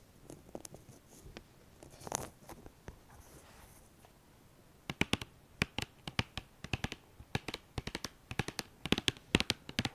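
Long dark-painted nails tap and scratch the top of a flat white cardboard sleeve with a red star logo, hollow and wrapped around an eyeshadow palette, as it lies on a fleece blanket. Quiet, soft scratching and scattered light taps come first, then a run of sharp, crisp, dry clicks with bright papery tops and almost no ring.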